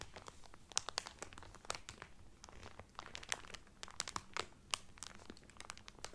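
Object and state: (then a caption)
Cellophane wrapper on a towel. Fingertips and nails rub and crinkle the cellophane wrapper on a folded cotton Carnival Cruise towel. Dense, dry, bright crackles and sharp snaps jump out of a quiet, low hiss. Each crackle stops almost instantly with no ring.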